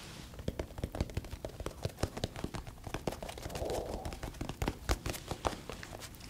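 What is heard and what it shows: Fingertips tap and scratch along the hard golden crust of a long, hollow-ish crusty baked baguette, about 40 cm, held in both hands in front of a chef. Quick, dry taps with low thuds and bright crackly scratches sound in an irregular stream, with a softer rustling swell midway through.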